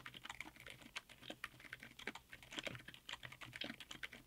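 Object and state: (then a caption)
Mechanical keyboard with ABS keycaps. Both hands type fast with their fingertips on a 60% mechanical keyboard in a white aluminum case, fitted with Outemu Silent Yellow Jade silent tactile switches and black SA-profile double-shot ABS keycaps. The result is a quick, continuous stream of soft, muted key clacks. The clacks are bright and short, with very little low-end thump.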